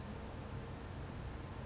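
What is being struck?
Nothing is struck.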